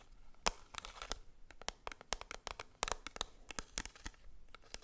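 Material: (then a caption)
Plastic. A small, flat, square black plastic Maybelline Fit Me pressed powder compact with a label, held in the hand, is tapped and scratched with long acrylic nails. Quick, sharp, bright clicks with almost no ring-out are scattered over a faint, dry, scratchy rustle, all at a quiet level.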